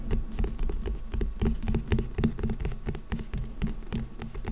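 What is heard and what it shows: Fingertips and nails of both hands scratch and tap on a small, solid old book with a printed orange paper or card cover, lying in front of the microphone. The result is a quick, uneven patter of soft, dull taps mixed with scratchy rustling. The sound is mostly low and muffled, and each tap dies away almost at once.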